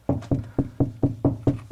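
Knuckles knock eight times in a steady rhythm on a drywall wall, moving along from over a stud to the space between studs. Each knock is a short, low, dull thud that dies away quickly. The knocks sound hollow, marking a wall cavity between the studs.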